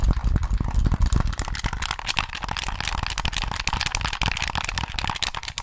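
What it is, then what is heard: Plastic game controller. A hollow black plastic PS3 controller is held close to the mic while fingertips tap and click its buttons and sticks. The result is a rapid, irregular stream of short, dry clicks and taps, each with a low, thumpy body and a bright plastic edge that dies away almost instantly.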